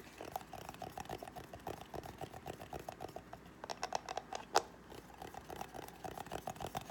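Fingernails tap and scratch the lid and side of a small, hollow white cardboard gift box with a gold foil rim. Quick, dry, hollow-sounding taps with a midrange tone follow one another rapidly over soft scratching, with one sharper, louder tap near the middle.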